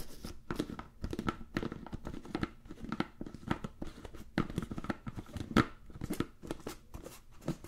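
A medium-sized, hollow, clear plastic food container with a blue plastic lid, apparently empty, is handled and tapped with fingertips and nails around the lid and sides. A rapid, irregular series of dry, short clicks and taps is heard, mixed with soft crinkling. Each tap dies away almost instantly with a hollow, low-mid body and little high-end brightness.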